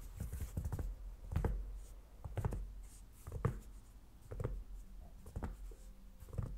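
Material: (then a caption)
Aluminum. White cotton-gloved fingertips tap and drum on the aluminum unibody lid of a closed 16-inch MacBook Pro lying flat, its thin solid shell giving soft, dull, low thumps. The taps come in an uneven rhythm, about one a second, each dying away almost at once, with faint rustling between them.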